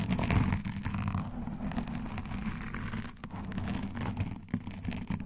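Long dark fingernails and metal nail rings scratch a black foam windscreen on a microphone, alternating hands. The result is a continuous, muffled scratching and rustling, heavy in low rumble at about 100 Hz, with brief brighter crackles as the nails and rings drag across the foam.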